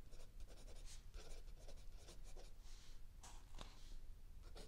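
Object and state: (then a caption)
Pencil writing on a notebook page. A mechanical pencil writes continuously on a lined page of a spiral-bound notebook lying flat on a wooden table, with an open paperback book held still under the other hand. Soft, bright scratching strokes come in quick bursts over a steady low hum.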